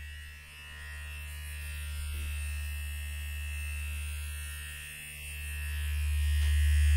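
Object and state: Nothing is struck.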